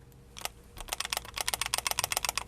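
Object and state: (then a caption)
Pistol slide with slight rattle. A steel Ruger SR1911 CMD 1911 pistol is shaken, and its slide rattles slightly against the frame in a rapid series of bright, sharp metallic clicks. The slide moves side to side a few thousandths, which counts as a good, snug fit for a production gun rather than a tightly tuned competition model.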